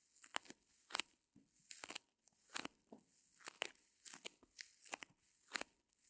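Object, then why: Reticulated foam block. A small white solid reticulated foam block is held in both hands while long nails scratch and squeeze it. The result is a quiet series of sharp, bright, crackly scratches and crunchy, crinkling squeezes, with no low end.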